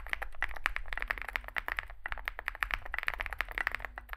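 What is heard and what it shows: Fingertips type continuously on a small 65% mechanical keyboard with a dark case and white and grey SA plastic keycaps. A rapid, steady stream of short, sharp clacks with a bright midrange click is heard over a low background hum, with a brief pause near the middle.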